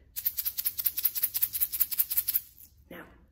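A blue plastic egg shaker filled with rice, taped shut so it won't spill, is shaken in about 17 quick, bright rattling strokes of dry grains hitting the shell. A short, faint sound follows after the shaking stops.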